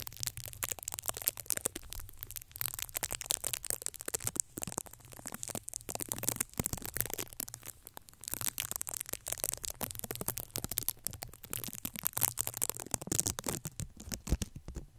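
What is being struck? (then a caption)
Foam microphone windscreen. Fingertips and short nails of both hands scratch and rub directly on the soft, porous black foam windscreen of a red Blue Yeti microphone. The result is dense, crackling, bright scratching with a steady low rumble underneath. Brief lulls come near 4.5, 6 and 8 seconds.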